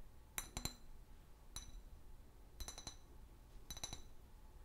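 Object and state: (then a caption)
Glass liquor bottle. A large, empty, hollow clear glass liquor bottle with a paper label is held sideways and tapped with long fingernails. Quiet, bright, glassy clicks with a high ringing tone that dies away almost at once arrive in four short bursts over a faint low background hiss.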